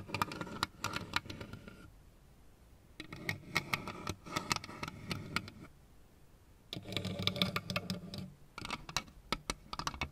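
A lit plastic Pac-Man LED lamp, with hollow plastic ghost figures on one base, is tapped and scratched with long red nails. Bursts of quick, bright clicking taps and scratchy rustling come in three stretches, separated by near-silent pauses.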